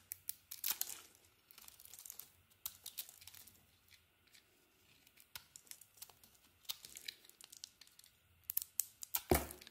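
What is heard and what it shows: A metal blade shaves and scrapes pieces off the surface of an oval solid soap bar with a blue outer layer over a green swirled core, held in the hand, as crumbs fall away. Dry, crackly scraping strokes come in bright, tearing bursts separated by quiet pauses, growing louder and denser near the end.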